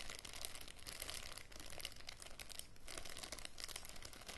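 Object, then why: Thin plastic bag. Fingers and nails crinkle and rub a thin, transparent plastic bag with a small green item inside. A quiet, continuous run of dense, crackly crinkling is heard, with no pauses between the sounds.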